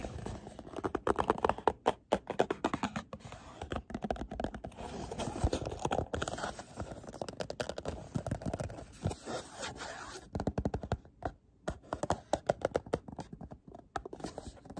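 A small, hollow, printed white and black cardboard box for a nail care product is held in both hands while fingertips and nails tap and scratch its faces and edges. The result is a steady stream of quick, dry taps and rough scratches with a hollow, papery body. The hits are short, with almost no ring and occasional louder bursts.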